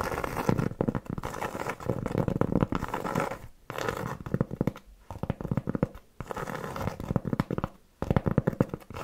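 Long nails give fast, scratchy tapping on a large round flat solid cork board trivet held in the hand. The dry, low-toned rapid scratching and tapping comes in dense bursts separated by brief pauses.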